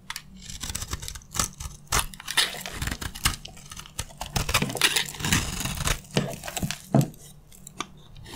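A metal utility blade scrapes and shaves crunchy flakes off the face of a dry, rectangular, solid green bar of soap with a worn gold coating, held in one hand. Rapid, dry crunching and crackling scrapes come in uneven bursts, each with a bright, gritty texture. A faint low hum sits underneath.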